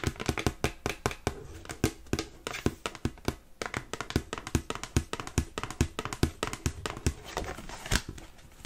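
A dark glossy cardstock greeting card printed with kitten pictures, opened into a folded shape and held in both hands, is tapped and scratched quickly with long pink nails. The result is a rapid, uneven stream of sharp, dry clicks with a dull low thump under them. Brief papery scratches fill the gaps between the taps.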